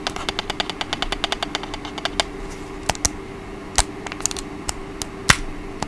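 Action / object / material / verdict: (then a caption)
tap / plastic remote control tapped with fingernails / plastic / none. Long acrylic nails tap and scratch along the body and buttons of a small, hollow, black plastic TV remote control held close. A quick, even run of crisp, bright clicks slows into sparser, sharper taps over a faint steady hum, each click dying away almost instantly.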